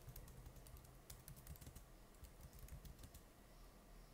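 Fingertips type continuously on the plastic keys of an open laptop with a stickered palm rest. The result is a quiet, steady run of soft key taps, mostly dull low thumps with faint bright clicks on top.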